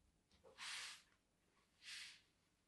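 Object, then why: Bar of soap scored with a thin blade. A thin blade scores diagonal grooves into a solid, palm-sized white bar of soap held in one hand. Two separate bright, hissy scraping strokes are heard, each about half a second long, with quiet pauses around them.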